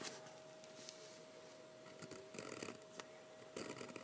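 A metal-nib fountain pen writes lettering on a single sheet of thick 80# heavyweight sketching paper, which lies flat on a wooden table and is held down by one hand. The nib makes quiet, dry, bright scratches in short repeated strokes, with a faint steady tone underneath throughout.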